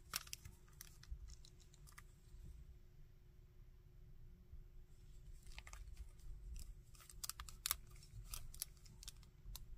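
A hard plastic Shocker action figure is held and articulated by hand, with fingertips tapping its body and its limbs moved so the joints click. Sharp, bright clicks and taps come in scattered bursts, busier in the second half, over a quiet low rumble and a faint steady hum.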